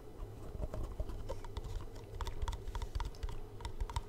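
Fingertips and short nails tap quickly along the faces and edges of a small, hollow black cardboard gift box held in the hands close to the mic. The taps give soft, low hollow thumps mixed with bright, clicky nail ticks. Each tap dies away almost at once, leaving a dry, rapid pattering.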